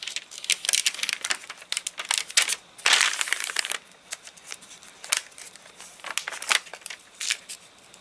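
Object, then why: Thick paper catalogue with wavy, glossy pages. Fingertips flip and crinkle the thin, glossy-print pages of a thick paper catalogue lying open, its pages wavy and crinkly from drying after rain. Dense bursts of bright, dry crinkling and crackling rustle in quick succession, with a longer, fuller rustle near the middle and quiet gaps between. There is almost no low end, and each crackle stops sharply.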